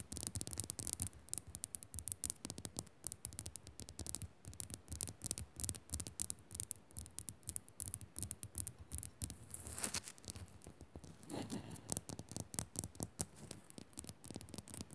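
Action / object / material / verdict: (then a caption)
scrape / rock-salt crystal lamp / rock salt / none. Long nails rapidly tap and scratch the rough top of a small, solid pink Himalayan rock-salt crystal lamp. The result is a quiet, dense stream of crisp, bright clicks over soft low thumps, with each hit dying away almost at once. Brief rasping scrapes swell out of the tapping around the ten- and eleven-and-a-half-second marks.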